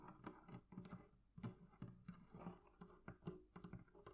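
Long nails tap and scratch the curved leather carrying handle on top of a hollow wooden barrel chest. The result is a quick, uneven series of soft, dull taps with a low, hollow body and brief scratchy rustles between them. Each tap dies away almost at once.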